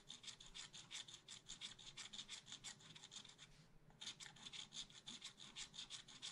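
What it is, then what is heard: Scratch art paper being scratched. A wooden stylus scratches rapidly across a black-coated scratch art paper sheet in a spiral notebook, filling in a pot. The result is a steady run of quick, bright, raspy strokes with a brief pause just past the midpoint.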